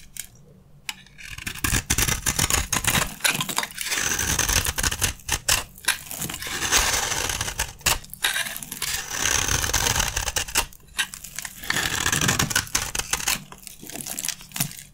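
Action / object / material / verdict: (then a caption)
scrape / gold-coated bar of soap / soap / none. A dry bar of red soap with a gold coating, held in the hand, is worked with a metal blade that peels off the gold layer and scrapes the red soap beneath into crunchy flakes. After a quiet first second, dense bright crackling scrapes come in repeated bursts with short pauses between strokes, each crunch dying away almost at once.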